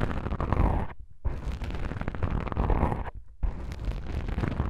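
Long pink nails on both hands scratch and tap black soft-foam microphone windscreens. The result is a dense, muffled rumble of scraping and soft thuds, heavy in the lows, broken by two brief near-silent pauses.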